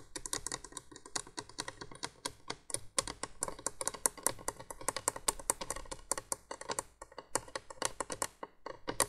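Long nails tap and scratch rapidly along the hollow plastic base of a 1980s window candolier light. The result is a dense, continuous series of short, dry, bright clicks with almost no ring, over a faint low hum.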